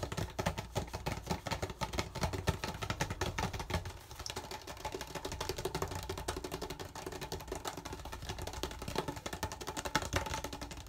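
An empty, hollow clear PET plastic water bottle with a yellow cap is turned in both hands while fingertips tap and scratch along its thin plastic body. The result is a fast, dense stream of short, dry taps and crinkly scratches, with a hollow low thump under a brighter crackle. The sound continues steadily throughout the clip, dipping slightly in level around the fourth second.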